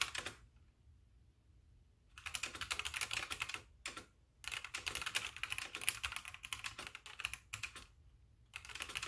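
Fingertips with painted nails type with both hands on a full-size backlit mechanical keyboard with white plastic keycaps while the mouse sits idle. Bursts of sharp, bright, clacky keystrokes come in runs separated by short pauses, with a long steady stretch in the middle. The typing resumes briefly at the end.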